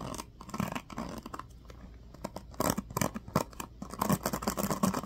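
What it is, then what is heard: Plastic paddle hairbrush being strummed. Fingertips and nails strum and scratch across the teal-tipped plastic pins of a small black plastic paddle hairbrush throughout. The result is dense bursts of crisp, rattling plastic clicks and scratches. A quieter, sparser stretch in the middle gives way to louder, busier strumming toward the end.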